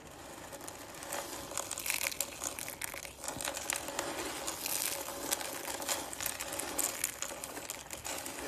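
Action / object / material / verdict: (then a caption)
scrape / shredded soap strands / soap / none. Thin shredded strands of dry green soap are pressed and crushed between the fingers. The result is a dense, continuous crinkling crunch of many quick, bright snaps with almost no low end.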